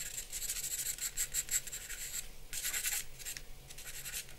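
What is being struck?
Charcoal pencil on drawing paper.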